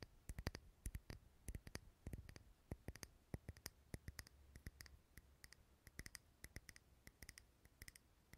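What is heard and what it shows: A small clear glass jar filled with green wax, lit as a candle and held in the hand close to the recorder, is tapped and scratched with fingernails. Quick, dry, bright clicks and short scratches come in irregular clusters over a faint low hum, with each tap dying away almost at once.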